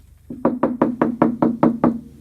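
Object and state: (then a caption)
Steel cab roof panel, well damped by sound-deadening mat. Knuckle knocks on the inside of a Studebaker pickup's steel cab roof, which has been fully covered with a butyl sound-deadening mat. Nine short, dull thuds are heard, a lighter one followed by eight firmer ones, each with a low tone around 230 Hz that dies almost instantly. The deadened roof gives a damped knock with no lingering metallic ring, and the job came out pretty good.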